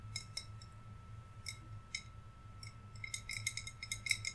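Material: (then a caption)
Glass. Fingernails tap on a hollow, wine-size green glass bottle with string lights inside and decorations on top. Sparse, bright little clicks, each with a short glassy ring near 2 kHz, become quicker and denser toward the end. A faint low hum runs steadily underneath.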